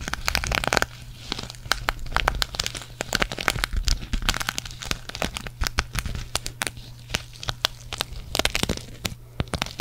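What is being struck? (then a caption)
Sequin fabric patch scratched and tapped with fingernails. Long nails scratch and tap a green sequin cactus patch held in front of the microphone, producing a rapid, dense stream of sharp, bright clicks and crinkly rustles. The clicks cut off almost instantly over a steady low hum throughout.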